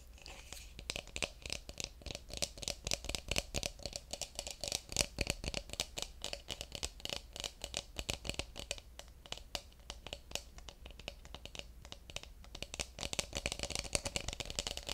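Fingernails tap and scratch along the outer surface of a hollow carved wooden cup with an incised line pattern. The result is a dense, continuous stream of quick, bright clicks and scratchy rasps with almost no ring, over a faint steady low hum.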